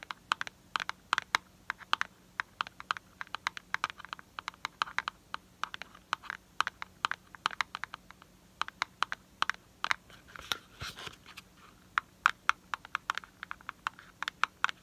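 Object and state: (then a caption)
Cardboard box tapped with nails. Fingernails tap and scratch the faces of a small, hollow, printed cardboard product box held in the hand. About seventy quick, dry taps come in uneven bursts with no ring-out. A brief rough scratching passage sits near the middle, and the clicks are mid-pitched with a bright edge.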